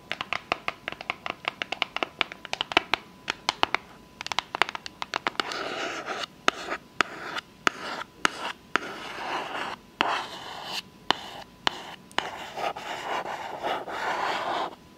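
Long fake nails tap and scratch a small, hollow, closed rectangular pink cardboard gift box with a unicorn print, held in the hand. The first few seconds are a run of quick, dry, sharp clicks. These give way to longer, bright, rasping scratches, broken up by short pauses and occasional single taps.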